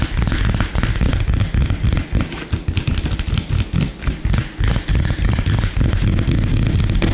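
Fingertips and short nails of both hands tap and scratch very fast and aggressively on a solid, flat, light-colored wooden tabletop. The result is a dense, irregular stream of dull, low thuds mixed with bright, crackly scraping, with each tap dying away almost instantly and no pause across the whole clip.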